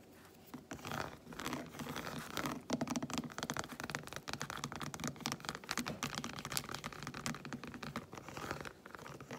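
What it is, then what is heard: Milk chocolate bar. Long white fingernails rapidly tap on the squares of an unwrapped solid milk chocolate bar held close up. The result is a dense stream of quick, dry, crisp clicks and scratchy ticks with very short decay and little low end.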